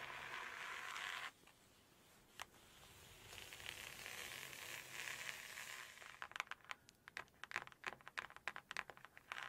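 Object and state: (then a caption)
Hardcover paper cookbook. Long acrylic nails scratch and tap on a large red hardcover cookbook, open to a cream calligraphy page, working across the paper page and the edge of the cover. A bright, papery scrape opens the clip and stops abruptly, followed by a single sharp tap and a softer stretch of rustling scratches. It ends in a rapid, uneven run of crisp nail taps.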